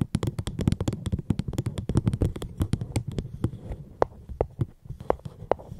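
Tapping on a fruit box held close to the microphone makes a run of short, dry taps with no talking. The taps are dense and fast in the first half, then thin out to sparser, slightly more ringing knocks. The sound is mostly low and thuddy, with quick clicks at the onsets.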